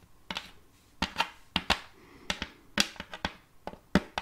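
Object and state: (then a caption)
Wooden serving tray tapped with fingernails. Long, multicolored fake nails tap on the glossy surface of an empty, round wooden serving tray with a rim, held upright. The result is 13 sharp, bright clicks with a slightly hollow knock and almost no ring, spaced irregularly with brief pauses between them.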